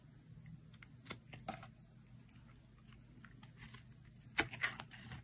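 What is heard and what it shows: A solid, hand-sized block of dry yellow bar soap is carved with a metal utility blade by a hand with long nails, shaving it into crumbly slices. Quiet, bright, dry scraping and crisp crunchy cuts come in irregular bursts, with a few sharper crackling snaps toward the end.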